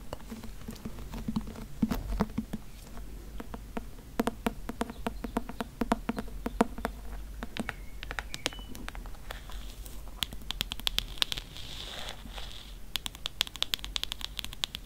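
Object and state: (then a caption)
Hardcover book with faux-leather cover. Long nails tap and scratch the embossed faux-leather cover of a thick Grimm's fairy tales hardcover book, first on the front cover and then along the spine. Rapid, dry, short clicks patter over a soft low hum. In the second half, brighter scratchy rasps rise up as the nails drag across the surface.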